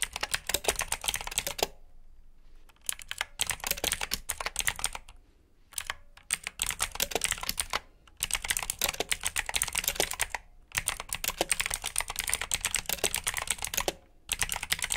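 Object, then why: Plastic mechanical keyboard. Both hands type with their fingertips on a black plastic backlit mechanical keyboard with blue switches, giving bursts of bright, crisp clicking keystrokes. Short pauses separate the bursts.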